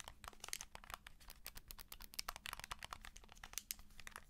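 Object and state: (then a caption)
Handheld game console in plastic case. Long nails tap and scratch along the plastic side of a handheld game console in a white and blue plastic case, held edge-on. A dense run of quick, dry, bright clicks and crinkly scrapes plays throughout at a soft level, over a faint steady low hum. Each tap dies away almost instantly.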